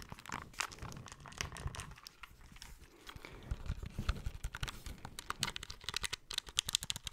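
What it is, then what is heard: Plastic handheld game console. A small, hollow, grey plastic handheld retro game console with a screen and buttons is held close to the mic and tapped and scratched with fingertips and short nails on its back and face. Quick, dry clicks and crinkly scratching run throughout, with bright crisp edges over a soft low thump from the hollow shell. The taps die away instantly, and the activity grows denser and slightly louder in the second half.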